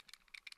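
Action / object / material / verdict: shake / metal outer barrel of an airsoft pistol / metal / loose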